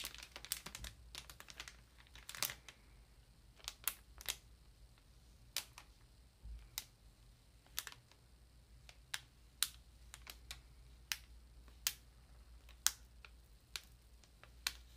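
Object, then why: Ream of paper in plastic wrap. Long nails tap and scratch the plastic wrap on a Georgia-Pacific 500-sheet ream of paper. The result is quiet, sharp, bright clicks and crinkles, dense at first and then spaced out, each dying away almost instantly over a faint low hum.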